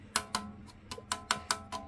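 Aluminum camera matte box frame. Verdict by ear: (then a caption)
Thin. The thin aluminum frame of a SmallRig Star-Trail lightweight modular matte box, from a basic kit with a 4 x 5.65 filter, is tapped seven times in quick succession. Each tap gives a short, bright, tinny clink with a high metallic ring that dies away almost at once. The thin metal sounds cheap, but it keeps the matte box lightweight.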